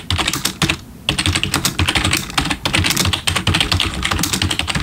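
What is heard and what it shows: Both hands type rapidly with their fingertips on a black plastic backlit computer keyboard resting on a desk. The result is a dense stream of bright, clicky keystrokes with a low thump beneath, broken by a brief pause just before the one-second mark before the typing resumes.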